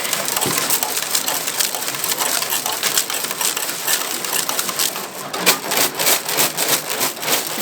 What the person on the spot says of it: You can hear all the screws in there. They're working.